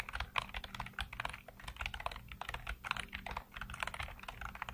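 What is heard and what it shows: Fingertips tap the hollow keycaps of a black plastic computer keyboard in steady typing, producing a quick run of short, dry clicks with bright, clacky tops. Each click dies away almost at once over a faint low hum.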